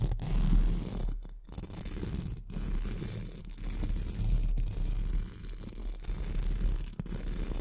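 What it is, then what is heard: Metal mesh microphone grille brushed. Pink spoolie brushes held in the fingertips are scratched over a hollow metal mesh microphone grille, making a steady, dense, low, rumbling scratch with little high sound. The brushing runs continuously, with brief quieter gaps between strokes.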